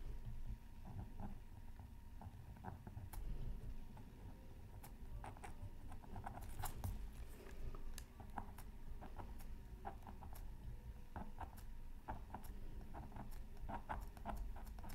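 A pointed wooden stylus scratches a thin black-coated scratch art card from a Mythical Creatures Super Scratch Art Pad while the other hand holds it down. Quiet, dry scraping strokes come in short irregular bursts, crisp and bright, over a steady low background rumble.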